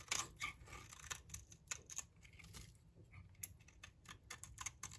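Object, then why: Bar of soap shaved with a knife blade. A utility knife blade shaves thin curls from a solid rectangular green bar of dry soap held in the hand. The blade makes a rapid series of crisp, bright scraping strokes with short, dry crackles that die away quickly, over a faint low rumble.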